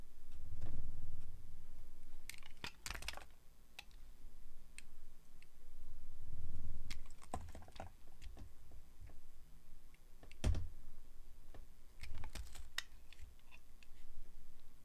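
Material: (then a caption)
Glycerin soap. A solid translucent yellow glycerin soap bar is held in the hand and sliced with a metal blade. Crisp, bright scraping clicks and short cutting strokes come in irregular bursts over soft low rumbling swells.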